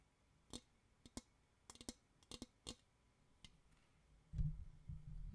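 Fingers tap on a plastic bowl for ASMR tapping, making eleven sharp, short clicks and taps spread unevenly over the first few seconds. A steady low rumble then fills the end of the clip.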